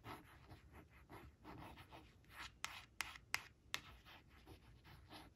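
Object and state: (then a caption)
Paper flash card scratched with nails. Long acrylic nails trace and scratch the outlines of printed cartoon mice on a thin coated paper flash card lying flat on cloth. Soft, bright, hissy scratching strokes come in uneven bursts, broken by four sharp nail clicks near the middle.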